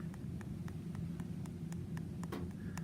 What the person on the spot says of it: I'm tapping on some exposed bone right now